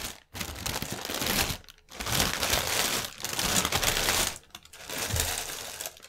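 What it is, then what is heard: Plastic air pillow packaging. Fingernails scratch and tap the film of a strip of inflated, air-filled clear polyethylene air cushions lying on a table. Dense, bright crinkling and scratchy rustling comes in long sustained stretches separated by brief quiet gaps, with soft low thumps from the hollow pillows beneath.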